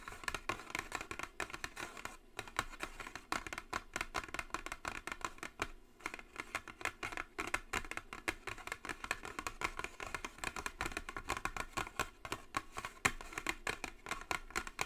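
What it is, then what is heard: Cardboard box tapped with nails. Long acrylic nails tap rapidly on the top of a closed, flat white Jisen cardboard cosmetic box, producing a dense, continuous stream of quick, dry clicks. The taps are short and bright, with very little ring and almost no low end.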